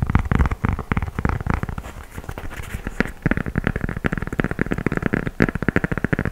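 Fingernails tap and scratch the tan gum rubber outsole with dotted tread on a knit sneaker held sole-up. Rapid, dry, muffled taps dominate, easing into a softer scratching stretch in the middle before quick tapping resumes. Each tap is short with almost no ring.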